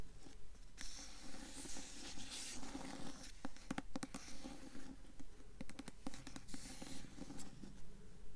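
A blue hardcover book, tilted sideways, has its glossy paper dust jacket scratched and tapped by long fingernails. Around nineteen short, dry taps land in a steady rhythm over soft scratching and bright, papery rasps.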